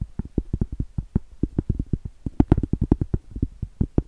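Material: Cork.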